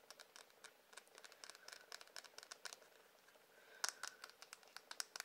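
Irregular fingertip-style tapping on a wooden hairbrush produces about two dozen quick, dry, bright clicks with almost no low end. The taps are quiet and uneven in pace, with a slightly louder cluster of sharper taps near the end.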